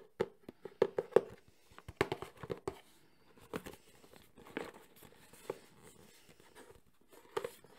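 A medium, closed, printed cardboard Sony camcorder box is held in the hands and tapped on its faces with fingertips and nails. The result is a fast, irregular run of short, hollow, papery knocks centered around 430 Hz, each dying away almost instantly, with faint scratchy brushing between the bursts.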